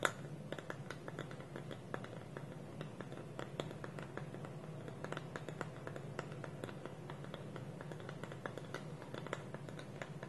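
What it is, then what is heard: Wooden bowl with lid. Fingernails tap and scratch on a small, hollow, polished wooden bowl whose wooden lid is held against it by both hands on a table. Quick, dry clicks and taps sound over a soft, steady scratching, with a low hollow body and bright, short attacks that die away almost instantly.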